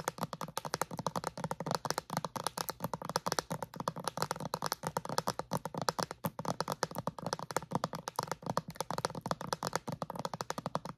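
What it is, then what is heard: Plastic bottle wrapped in plastic film. Long acrylic nails tap and scratch a clear plastic bottle wrapped in plastic film. Rapid, steady, crisp taps with brief crinkly scratches continue throughout. Each hit is short and dry with almost no ring.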